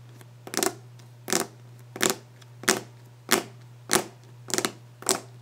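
Fingers scratch and rub a wooden desk surface in eight short, bright bursts with a raspy, wide-band texture, roughly evenly spaced. A steady low hum runs underneath throughout.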